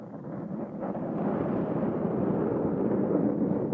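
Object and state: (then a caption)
Foam microphone windscreen being scratched. The black foam windscreen on a Zoom H6 recorder is scratched with the nails of both hands, producing a dense, continuous rustling scrape. The sound is muffled and concentrated in the low-mids with almost no high end, and it grows steadily louder over the first second before holding at a steady level.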